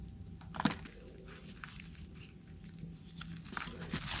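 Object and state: Dry soap bar scraped into shavings.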